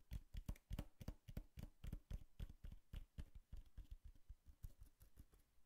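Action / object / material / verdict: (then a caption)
tap / cardboard box / cardboard / none. Long nails tap and scratch the flat side of a hollow brown cardboard box held upright. A quick, uneven run of dull, low thuds comes with faint papery scratches. Each hit dies away almost at once.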